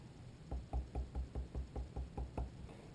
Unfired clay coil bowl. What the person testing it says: you can hear it has a nice damp thud sound when i tap the side and it's not gonna deform if i pick it up